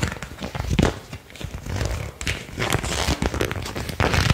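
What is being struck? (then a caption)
Thin printed paper card. A single thin, flat, flexible printed paper card is held in both hands and repeatedly bent and flicked with the fingertips and thumbs. It produces a steady run of crinkling and sharp snapping, with soft low thumps under bright, crackly bursts that cut off almost instantly.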